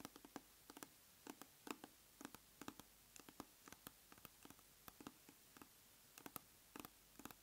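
A large round plastic tub of aloe soothing gel is held on its side while long nails tap and scratch its side wall. About 29 quick, dry clicks are heard in uneven clusters, each with a low hollow body and a bright crisp edge that dies away almost at once.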